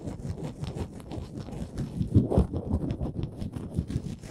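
Long nails scratch along the ridged edges of a small, solid, printed wooden Canada souvenir ornament. The result is a dense, low, scratchy rasp of quick, irregular strokes, with the loudest scrapes near the middle.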